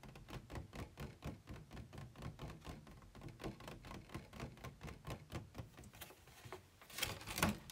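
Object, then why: Thin plastic packaging tray. Fingertips tap inside an empty, hollow white plastic packaging insert tray resting on a bed, then on its ribbed outer side. A steady run of quick, dry, hollow taps with a low body and very short ring gives way near the end to a louder, brighter, scratchier burst.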